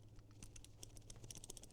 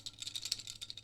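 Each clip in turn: First: tight, non-rattling plastic sling bag buckle. Second: loose rattling plastic buckle.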